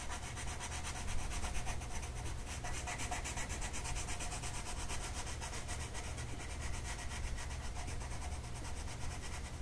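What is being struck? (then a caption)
Colored pencil on a paper sheet. A light blue colored pencil shades a flat paper mandala sheet with rubbing strokes, producing a steady, dry scratching that pulses with each back-and-forth stroke. A constant low hum sits underneath the bright, papery rasp throughout.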